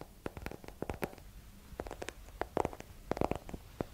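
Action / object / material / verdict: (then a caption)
tap / hardcover paper book / cloth-covered board / none. Long nails tap and scratch the cover and page edges of a small, solid hardcover paper book with a yellow cloth or paper cover, held in both hands close to the mic. About twenty quiet, dry, clicky taps sound in irregular clusters, mixed with soft papery scratching and a faint low thump from the cover. Each tap stops at once with no ring.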